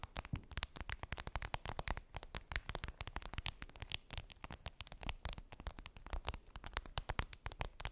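Long acrylic nails tap rapidly on a clear vinyl zip makeup bag with a daisy print, which appears empty. The taps are a quiet, steady stream of short, crisp clicks with a soft low thump beneath and bright crackly edges, each dying away almost instantly.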